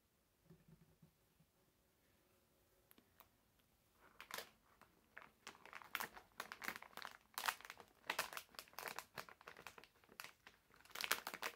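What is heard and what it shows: A full, medium printed plastic-film bag of wrapped Vivil hard candies is held in both hands while fingertips and nails squeeze and crinkle it. After about four quiet seconds with only a few faint touches, dense bursts of bright, crackling crinkles follow one after another until the end.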